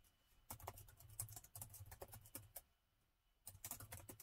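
Fingertips of both hands type on the black plastic keys of a gold laptop, producing quick, bright clicks with soft low thumps underneath. The typing runs in a dense burst for about two seconds, pauses briefly, then resumes. Each keystroke dies away almost at once.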